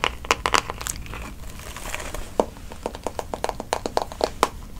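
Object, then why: Plastic paddle hairbrush. Fingertips and nails scratch and tap the smooth back of a pink plastic paddle hairbrush held up close, then run over its plastic bristles. A quick burst of bright, dry clicks opens the clip, followed by a soft scratchy rustle, then a run of sharp, evenly spaced taps with almost no ring.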